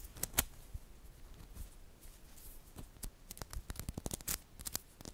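Small solid green-coated magnetic metal balls are rolled into a cluster in the fingers while long nails push them so they click and snap together. A quiet, irregular series of sharp, dry, bright clicks and snaps stands out over a soft low rustle, each click dying away almost instantly.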